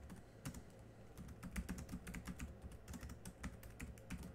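Continuous two-handed fingertip typing on the black plastic chiclet keys of a small laptop keyboard. The quiet, rapid run of soft clicks carries a dull low thump under each key press with little brightness, and every tap dies away almost at once.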